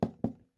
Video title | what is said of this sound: USCCE Wood Alarm Clock FM Radio, 6 Sound, Thermometer and 2 USB Review! Best Alarm Clock Ep.3! 🕰️ | This is actually a wood alarm clock. Knock on wood. Sounds like wood to me.